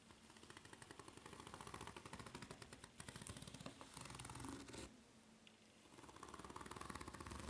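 A white ridged rubber flip-flop sole, held bottom-up, is scratched fast across its ridges with long nails. The result is a dense, rapid rasping chatter of tiny clicks. It briefly drops to a quieter stretch near the five-second mark before the fast scratching picks up again.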